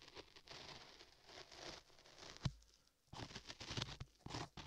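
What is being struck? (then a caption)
Modeling clay over a microphone ear, scraped with a metal chisel. A metal chisel in a gloved hand scrapes solid beige modeling clay covering a microphone ear near the ear canal. It makes close, crackling, gritty scratches with a bright hiss, broken by a sharp low thump midway and a brief quiet pause before the scraping resumes.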